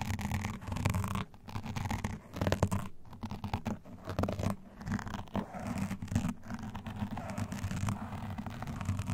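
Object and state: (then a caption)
Foam microphone windscreen being scratched. Both hands scratch and rub a black foam windscreen on a condenser microphone with long nails and metal claw rings. The result is a dense, steady stream of muffled scratching and rubbing with a deep, rumbling low end and brief pauses between passes.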